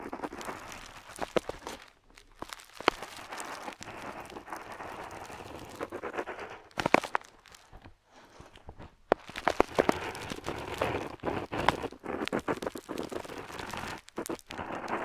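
A metal dip pen nib scratches over a flat, parchment-style paper map sheet while outlining islands. Dense, dry scratching and crinkly ticking strokes come in bursts, with brief quiet pauses around 2, 8 and 14 seconds. The sound is mostly midrange with a faint high hiss and almost no low end.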